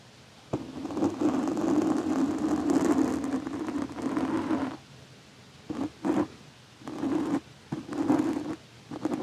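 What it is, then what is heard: Metal blade scraped across a foam microphone windscreen. A large metal chef's knife blade is slowly scratched and dragged across the soft, porous black foam windscreen covering the head of a Blue Yeti microphone, moving from the left and over the top. It makes a close, muffled, scratchy rasp with a low-mid rumbling tone, first as one long drag and then as a series of shorter strokes separated by quiet pauses.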